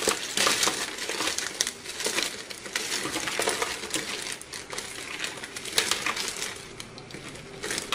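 Two hands with short painted nails squeeze and crush a large pile of small, brittle, multicolored dry soap shards between fingertips and palms on a white surface. The sound is a dense, bright, crackling crunch that swells and fades in uneven bursts, with sharp crisp snaps and almost no low end.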